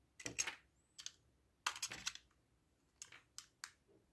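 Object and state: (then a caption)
Bar of soap being carved. A solid, hand-sized white bar of soap with a blue outer coating is held in one hand and carved and scraped with the metal blade of an orange utility knife, with shavings falling onto a wooden table. The cuts make crisp, bright, dry scraping clicks in short clustered bursts with no ring, separated by quiet pauses.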